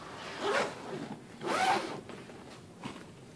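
A hand pulls the metal zipper around the lid of a large black fabric suitcase, which is empty once opened, then opens the case. Two main rasping zip strokes rise and fade with a bright, buzzy texture over a low, quiet background, followed by a fainter rustle near the end.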